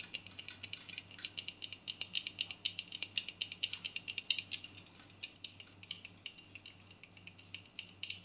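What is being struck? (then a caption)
Aluminium aerosol spray can. A hollow aluminium aerosol body spray (deodorant) can is tapped with long nails while standing upright, then turned sideways and tapped along its body. The result is a quick, steady stream of short, dry, bright clicks that die away almost instantly. They carry a thin metallic ring around 2.8 kHz and almost no low end, at a soft, close level.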